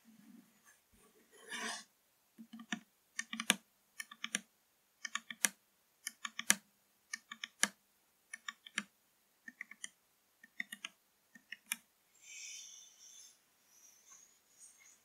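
Long nails tap and scratch along the labelled body of a full 500 ml blue PRIME plastic drink bottle lying on its side on fabric. Around thirty quick, bright, dry taps come in tight clusters, with short hissing scratches near the start and end. The sound is quiet, crisp and mostly high-pitched, with almost no ring after each tap.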